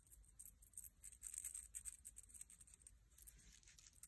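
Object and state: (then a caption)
Dried sand dollar shell. A palm-sized, bleached, dried sand dollar shell, with its thin, flat, rigid calcium carbonate skeleton, is held up in one hand and scratched rapidly with fingertips and short nails. The result is a quiet, fast, irregular stream of crisp, high-pitched scratching and ticking, bright, over a low background rumble.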